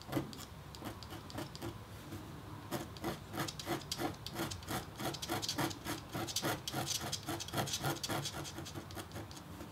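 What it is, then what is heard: Copper-foil scratch-art board being engraved. A metal engraving stylus scratches short strokes across a flat, thin, black-coated copper-foil scratch-art board, revealing the copper beneath. The result is a fast, fairly irregular series of dry, bright, rasping scrapes with a faint low-mid tone and a quick decay. After a softer lull of about two seconds, the strokes return more densely.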